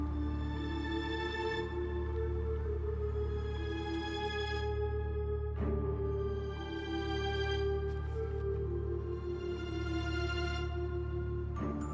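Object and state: Nothing is struck.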